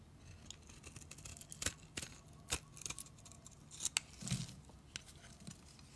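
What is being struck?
Soap bar cut with a utility knife blade.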